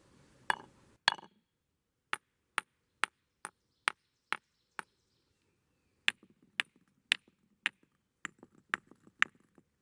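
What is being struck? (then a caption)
Rocks struck with a hammer and other stones. Rocks are pounded with a rock hammer and then with other rocks to hear the different sounds they make, giving sixteen sharp, bright clinks. Each strike is very short and dies away almost at once with only a faint ring.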